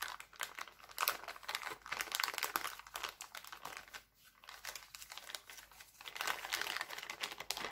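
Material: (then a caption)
Cellophane. Both hands crumple and crinkle an empty, thin, clear heart-printed plastic cellophane bag with their fingertips. The result is a steady stream of dense, bright, crackling crinkles with no low end. There is a brief quiet dip around the middle, and the crinkling grows busier and louder toward the end.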